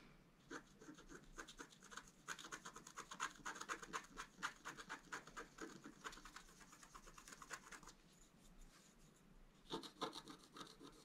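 A wooden stylus scratches flowers and an antler into a flat, black-coated scratch art card, producing quick, irregular bright rasping strokes with a dry, papery edge. The scratching runs densely for about eight seconds, goes quiet briefly, then resumes in a short final burst.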